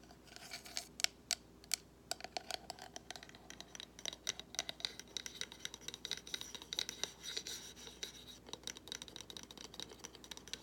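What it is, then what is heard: Cardboard gift box. Fingernails scratch and tap along the edges and sides of a small, hollow white cardboard gift box with gold trim. The sound is quiet, with bright, dry scratching and many quick, crisp clicks that stop instantly with no ring.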